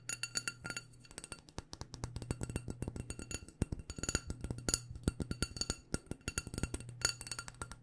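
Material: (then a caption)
Glass. Long painted nails rapidly tap a small black glass candle jar with a white label, filled with wax, striking both the glass and the label. The result is a quick, irregular run of dry, bright clicks with very short ring, heard over a steady low hum.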